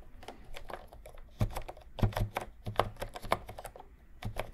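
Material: Plastic.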